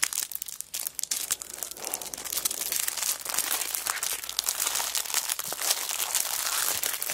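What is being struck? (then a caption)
Cellophane-wrapped paper notebook. A cellophane-wrapped kraft paper notebook is rubbed flat on a rug, then lifted and crinkled in hands with long nails. A dense stream of bright, crackling plastic crinkles and sharp snaps with no low end, growing steadier and fuller as the wrapper is handled.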